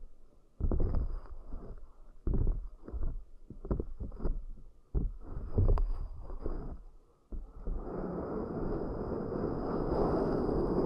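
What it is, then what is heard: Silicone pad. Long nails and fingertips tap and scratch across a black oval silicone pad with concentric ridges, resting on cork coasters. For about the first seven seconds, soft, low, muffled taps thump in an uneven rhythm. Then the sound shifts into a steady, dense rustling scratch that fills the low and middle range until the end.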